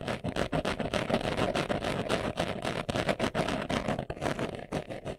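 Fingernails scratch quickly across a small, hollow, brown pebbled leather glasses case held in the hands. The result is a continuous, dense, raspy scratching with rapid, uneven strokes that flutter in loudness and carry a hollow mid-range body.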